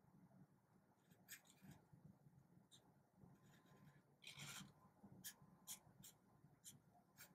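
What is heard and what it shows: A black felt-tip marker draws scratchy strokes across a small, thin paper card held in one hand. Short, bright raspy bursts of scratching come and go over a quiet, steady low background, with one longer rubbing stroke near the middle.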